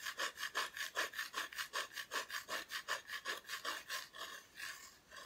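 Long nails scratch the raw wood back of a flat, thin, solid plywood cut-out Christmas decoration. About eighteen quick, rhythmic rasping strokes with a bright scratchy edge run back and forth, then soften and smear together near the end. Some faint breathing may be audible.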